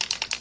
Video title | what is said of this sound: Fashion DIY: White Jeans + Easton Tooled Leather Foil | You want to hear that ball, okay? You want, it's a rattle can. You want to really hear that shake.